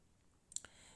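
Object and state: Plastic plate, not clay pottery.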